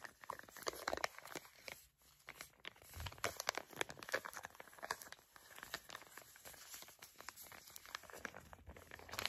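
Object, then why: Foil and plastic sachet. A filled, flat printed foil and plastic face mask sachet is crinkled and tapped with long nails. Dense, quiet crackling crinkles and sharp taps run throughout, bright and broadband, with a brief lull near two seconds.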